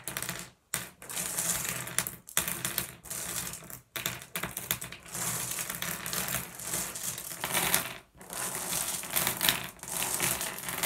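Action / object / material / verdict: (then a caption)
drop / small glass gem pebbles on a wooden table / glass / none. Fingers pick up, sift and drop small solid blue glass gems onto a wooden table. The result is dense, rapid, bright clicking and clattering that pauses briefly a few times before starting again.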